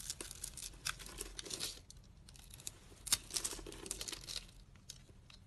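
A utility knife blade slices scored cubes off a solid, translucent green bar of dry soap held in the hand. The cuts and scrapes make bright, crisp crackling and crinkling with short sharp snaps, all quiet and high-pitched with little low end.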